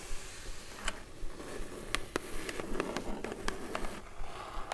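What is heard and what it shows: Long glittery acrylic nails tap and scratch the lid of a closed, hollow brown kraft cardboard gift box with a white "B." logo, lying on a fluffy rug. An irregular run of quick, sharp, dry clicks stands over soft scratching and a low, muffled background.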